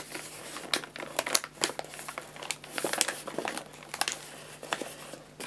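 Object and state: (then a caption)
Paper pet food bag being crinkled. A 2 kg white paper bag of guinea pig food with a printed label, hollow and filled with dry pellets, is held upright in both hands while fingertips squeeze and crinkle the paper. The result is a continuous, bright, dry crinkling with a rapid series of short, sharp crackles and almost no low end.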